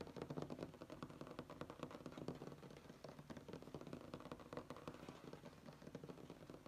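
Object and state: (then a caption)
Wooden tabletop. Fingernails tap and scratch a flat, solid wood-grain tabletop. Quick, dense, dry taps run steadily throughout, mixed with soft scratching. The sound stays mostly low and mid, with little brightness, and each tap dies away almost at once.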